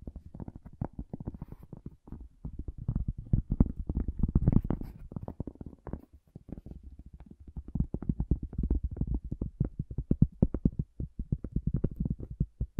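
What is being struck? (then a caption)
Cork object. A cork object is tapped in a rapid, irregular series of soft, dull taps. Each tap is a short, dry thud with almost no ring, its energy mostly deep and low with nothing bright above, swelling slightly louder in clusters.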